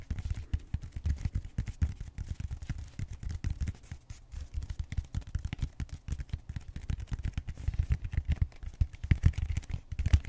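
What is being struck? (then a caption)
Styrofoam foam roller end. Fingertips and short nails scratch and tap the flat round end of a purple bead-textured styrofoam roller. Dense, rapid, low thumpy taps and scratches fill the whole clip with almost no high content. The result is a muffled, constant crackling patter.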